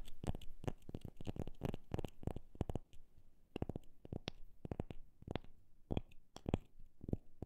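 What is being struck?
Wooden object.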